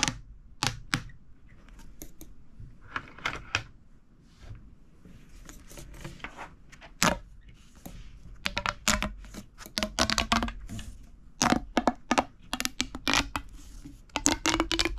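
A long, hollow, empty red corrugated plastic pop tube is bent and compressed with the fingertips, while a purple tube lies untouched nearby. Its ribs pop and crackle in irregular bursts of sharp, bright snaps, some leaving brief faint tonal ringing, with soft rustling between.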